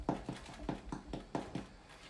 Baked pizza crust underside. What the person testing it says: If it sounds hollow, it's probably cooked.